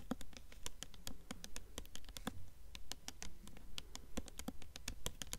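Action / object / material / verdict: tap / hardcover book with paper dust jacket / paper, cardboard / none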